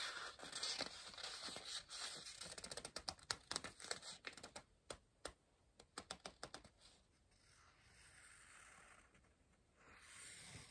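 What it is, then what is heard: Pencil on paper puzzle book. A pencil writes and scratches on the page of an open softcover paper word-search book resting on a pillow, staying on the same spread. Bright, dry scratching strokes and quick ticks come in a busy run, then thin out into separate sharp taps. Softer, steadier rubbing on the paper follows.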